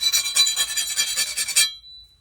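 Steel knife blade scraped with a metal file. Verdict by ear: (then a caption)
Hard. A normal metal file is scraped along a steel chef's knife blade after heat treating in a forge, testing its hardness and filing some decarb and forge scale off the edge. The file strokes make a bright, rasping, high-pitched pinging sound with a steady high tone through it, and they stop at about 1.7 seconds. The ping shows the blade definitely got hard, which is a good result.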